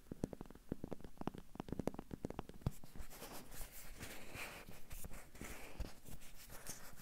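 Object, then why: Small hollow rubber or vinyl toy duck. A small hollow yellow rubber or vinyl bath duck with an orange beak is held in the hand and tapped and scratched with fingertips and short nails. A quick run of sharp, dry taps with a low hollow thump gives way after about three seconds to a steady, bright scratching rustle over the duck's surface.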